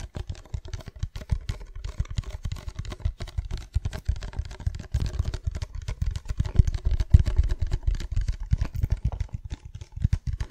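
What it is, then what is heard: Plastic cosmetic bottle. A hand-sized, hollow, white labelled plastic cosmetic bottle (spray or lotion) is held in both hands in front of the microphone and tapped with long fingernails. The result is a fast, steady stream of short, dull, low-pitched taps with almost no ring, forming a continuous soft drumming.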